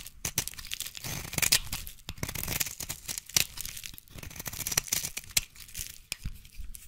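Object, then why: Bar of soap. A utility knife blade shaves and scrapes long curls off a solid, hand-sized bar of yellow translucent soap. Bright, crackly scraping and tearing rasps come in uneven strokes, punctuated by sharp clicks, with a faint low rumble underneath.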